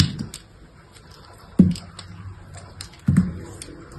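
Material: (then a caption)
Soap. A utility knife blade scrapes and cuts brittle slivers off a small, solid piece of dried soap with a red painted surface and pale interior, held between the fingers over a table. Three firm, low, dull crunches stand out, with lighter scraping ticks and a faint bright crackle between them, each dying away almost at once.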